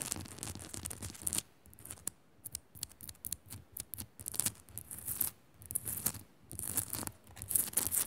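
A small, solid pink Himalayan rock-salt crystal lamp is scratched rapidly by long nails across its rough top. Bursts of dry, bright scraping come in quick clusters separated by brief quiet gaps, over a soft low rumble.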